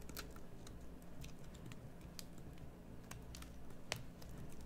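A small metal blade carves a solid green bar of soap in short cutting strokes. Each stroke gives a quick, dry scraping tick with a bright top, set over a steady low hum. The ticks come in an uneven series at a soft level.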